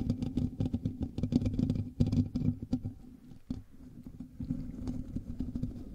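Both hands scratch the hollow metal mesh grille of a black USB microphone with fingertips and nails, giving a dense, rapid scratching and rustling with a heavy low, boomy body. The scratching is busiest and loudest in the first three seconds, drops quieter for a moment, then continues at a steadier, softer level.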